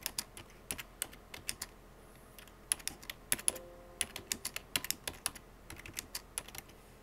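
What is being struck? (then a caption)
Plastic computer keyboard. Fingertips with painted short-to-medium nails rapidly tap the hollow plastic keycaps of a full-size black plastic computer keyboard. About thirty quick, dry clicks come in uneven bursts, each bright and sharp with almost no ring, over a quiet background.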